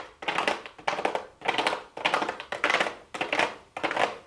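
Long blue acrylic nails tap rapidly on a small, hollow pink cardboard makeup box with a clear plastic window lid. The sound comes in seven short bursts of quick, dry, clicking taps with a light scratchy texture, each burst fading out before the next.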